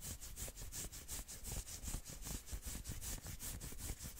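Long nails scratch fast back and forth along the forearm of a dark red and black knit sweater sleeve. The result is a quick, steady run of rough, brushing strokes with a bright hissy top and a soft low thump beneath each pass.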